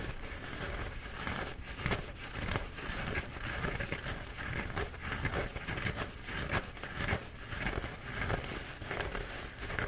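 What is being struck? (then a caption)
Paper towel roll. A flattened, bee-printed paper towel roll is held in both hands while fingertips scratch and pinch the paper. Soft, dry crinkling and scratching rustles come in irregular bursts, with a low rumble underneath and bright crackle on top.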